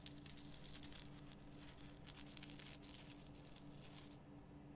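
Long painted nails scratch across the rough surface of a large, solid, lit pink rock-salt Himalayan salt lamp. The result is a quiet, dry, crackling scratch with bright gritty bursts over a steady low hum, and the scratching thins out near the end.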